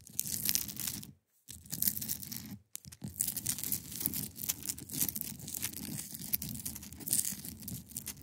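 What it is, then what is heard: Ice block being scratched. Long pointed nails scratch across the top and sides of a large, solid, clear ice block resting on a fabric surface. The result is a dense, bright, crackly rasping with a soft low rumble beneath, broken by two brief silent gaps early in the clip.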